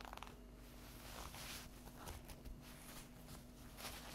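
Long acrylic fingernails scratch and tap the edges and top of an unwrapped stack of folded paper napkins with a euro print, lying on a table. Quiet, dry scratching rustles with bright bursts are broken by a few soft taps, over a steady low hum.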